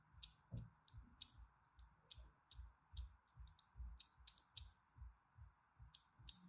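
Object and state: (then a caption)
Bar soap being scored with a blade. A thin blade scores dense parallel and crossing lines into a solid pink bar of soap, making about sixteen crisp, bright scratching strokes in a loose, quick rhythm. Each stroke pairs a sharp high rasp with a soft low thump, over a steady faint mid-range hum.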